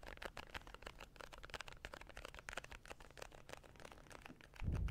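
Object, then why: Small cardboard card case. A small printed cardboard card case, likely hollow, is held in both hands close to the mic and tapped and scratched with fingertips and nails. The result is a quick run of light, dry taps and scratchy rustles over a low thumping body. It ends in a louder low-frequency rumble in the last fraction of a second.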